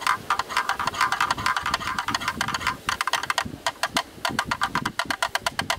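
A black, rectangular, hollow plastic camera lens hood is held in the hands and tapped rapidly with a thin bamboo stick through and around its opening. Dozens of quick, dry, hollow clicks come in an uneven stream, each centered on a mid tone near 1.2 kHz with a brief bright edge and almost no ring.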